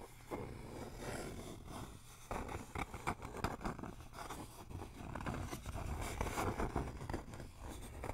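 A flat rectangular wooden sign with RELAX lettering, a solid thin board held upright, is tapped and scratched with fingertips and nails. Soft, dull wooden taps mix with dry scratching over a steady low rumble. The taps die away quickly, with little ring.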